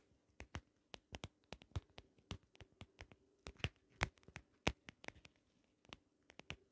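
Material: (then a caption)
Plastic. Long acrylic nails tap and scratch along the ridges of a small, closed, shell-shaped pocket compact held in one hand; the hollow case has a ridged holographic vinyl or plastic surface. About 25 sharp, dry clicks land in an irregular rhythm, each bright and very short with almost no ring. A faint steady hum runs quietly underneath.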